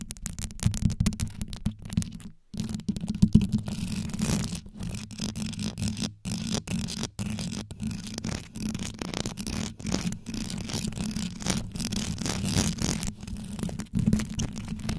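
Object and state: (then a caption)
Rhinestone-covered microphone grille being scratched and tapped. Long yellow nails rapidly scratch and tap the rows of rhinestones covering a metal microphone grille, while hands cup the sides and top of the microphone head. The result is a dense, continuous stream of deep, muffled scraping and clicking, heavy in the low end with a steady low hum and only brief pauses.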